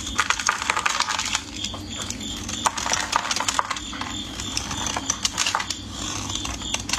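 A metal craft blade scrapes and cuts thin flakes off a solid, translucent, palm-sized orange bar of soap held in gloved fingers, in repeated scraping strokes. The sound is a steady run of crisp, crackly scrapes and tiny sharp clicks, bright and dry with almost no ring or low end.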